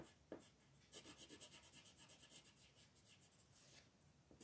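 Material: Paper.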